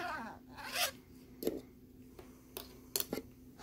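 Fingertips rub and scratch across the ridged surface of a thin plastic lenticular nebula card. A brief rasping rub opens, followed by short, bright scratchy strokes at uneven intervals over quiet gaps and a faint steady low hum.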